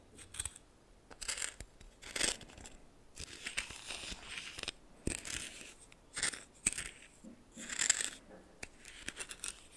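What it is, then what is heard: Coarse salt stirred in a bowl. A red plastic spoon stirs coarse salt in a small bowl, making bright, gritty crunching and scraping sounds in irregular bursts. The crystals rasp and crackle with sharp, brief clicks and no ringing.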